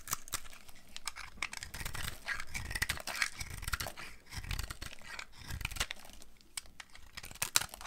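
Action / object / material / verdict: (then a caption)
scrape / bar of laundry soap shaved with a blade / soap / none. A solid, dry brown laundry soap bar held in one hand has crumbly pieces shaved from its end with a box cutter blade. Dense scraping and carving crackles run continuously, with bright crunchy flakes over soft low thuds. No single cuts stand apart.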